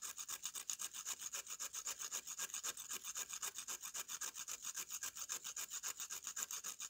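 A metal knife blade is scraped repeatedly across the surface of a solid slab of dry brown mud held upright, shaving off dust. About 49 quick, evenly paced strokes produce a dry, bright, hissing rasp with almost no low end, each stroke stopping abruptly.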